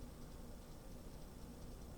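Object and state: Nothing is struck.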